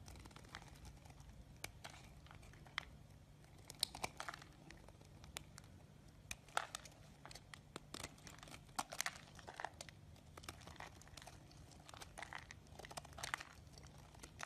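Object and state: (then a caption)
Bar of soap being carved. A hand-sized solid green bar of soap, held by fingers with teal nails, is carved and scraped with a metal blade as shavings pile up beside it. Soft, crisp crackling scrapes and sharp bright ticks repeat steadily over a faint low hum, each one dying out almost instantly. The level stays quiet throughout.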